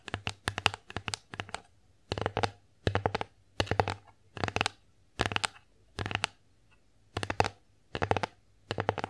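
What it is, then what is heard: Wooden plate tapped with nails. Fingernails tap and scratch across the surface of an empty wooden bear-face plate in quick clustered bursts of sharp, dry clicks with no ring. The flurries repeat about every second, separated by short quiet gaps, and carry a bright clicky top over a faint low hum.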